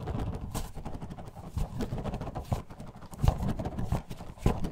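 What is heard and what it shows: A clear plastic bottle holding purple orbeez water beads is shaken in a black-gloved hand beside the mic. It makes a steady run of soft, muffled, low thumps and rattles with a few sharper knocks, and almost no bright high end.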